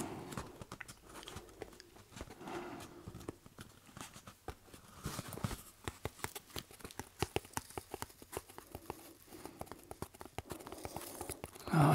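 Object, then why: Corrugated cardboard box. Fingertips tap and scratch the sides of a hollow, medium corrugated cardboard shipping box with labels while it is held in the hands and tilted. Dozens of quick, dull, hollow taps mix with soft papery scratching over a low, thudding body. A louder rustling burst comes at the very end.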